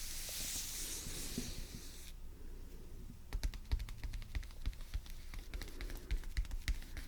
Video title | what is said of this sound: ASMR Ultra Relaxing Delicate Exploration ⭐ Soft Spoken | there's a slightly hollow sound to the tapping. This is from the loose binding.